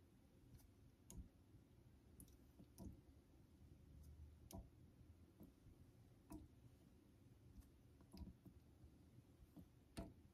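A vintage Geneva Cutlery steel straight razor is stroked across a solid cream synthetic honing stone. Quiet, low scraping rubs are broken by about eight short, bright clicks at uneven intervals as the blade moves along the stone.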